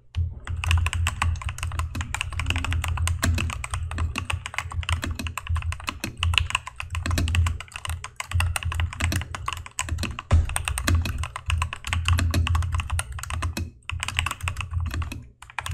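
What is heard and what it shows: Fingertips of both hands type rapidly on a full-size plastic mechanical keyboard with cream-white plastic keycaps, an orange spacebar and RGB backlight, resting on a desk mat. Dense, continuous clacky keystrokes press the switches, each a short, dry click with a thuddy low body and bright tick, with almost no ring.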